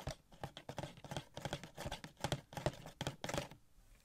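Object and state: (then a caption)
Cardboard toy box with plastic window. Fingertips rapidly tap a small, hollow cardboard Funko Pop box with a plastic window, with a gold Shuri figure inside. The quiet, quick, irregular taps give soft, dull hollow thumps with a low body and a faint crinkly brightness from the plastic. Each tap dies away almost at once.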